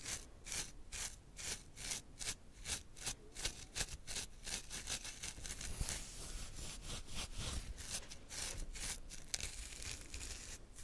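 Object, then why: Plastic comb through beard hair. A wide-toothed plastic afro comb, held in the hand, is drawn through a full, thick facial beard on the chin and jaw. Quick, repeated scratchy combing strokes rasp with bright, broadband hiss, distinct at first and then running together into a denser, steadier scratching.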